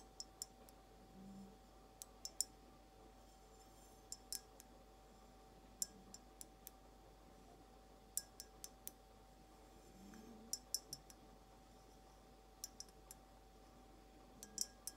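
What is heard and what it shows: Long pointed acrylic nails slowly tap a clear glass vase, hollow and empty and held sideways, in about 26 short, bright clicks grouped in small clusters. Each tap is sharp and dies away almost at once, over a quiet background with a faint steady hum.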